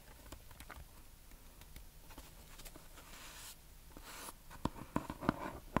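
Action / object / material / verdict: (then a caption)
tap / small cardboard box wrapped in kraft paper / paper / none. A small, hollow rectangular gift box wrapped in brown kraft paper and tied with red string is scratched and tapped with long nails close to the mic. Soft, papery scratching sounds fill the first few seconds. Near the end come several sharp taps that stand clearly apart.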